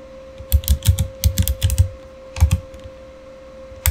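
Both hands type with their fingertips on a Razer mechanical keyboard with plastic keycaps and RGB backlight. The result is irregular bursts of deep, thocky key clacks with bright clicky edges, with pauses between runs and a final keystroke at the end, all over a steady faint hum.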